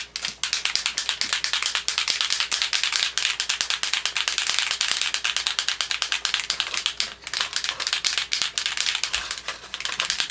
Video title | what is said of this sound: Creative Fridays-Perfect Pearls | You can hear that mixing ball going in there.